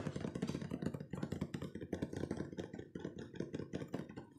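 A hollow, hand-sized, rectangular printed cardboard cookie box (Pure Magic Chocolush) is held up and tapped quickly on its sides with fingertips and nails. The result is a fast, continuous stream of dull, hollow thumps with a soft clicky edge, heaviest in the low range, each tap dying away almost at once.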